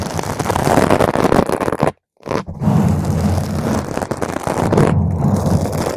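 Long green nails scratch the top and sides of a round purple foam microphone cover, making a dense, muffled scratching rumble heavy in the low end. The scratching briefly stops just before the two-second mark, then resumes just as thick and steady to the end.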